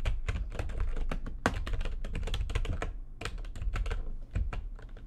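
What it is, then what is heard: Plastic computer keyboard being typed on. Both hands type quickly with long nails on a full-size plastic backlit computer keyboard, producing a steady, dense stream of short key taps. Each tap pairs a deep, low thump with a brief bright click, and the sound dies away almost immediately between strokes.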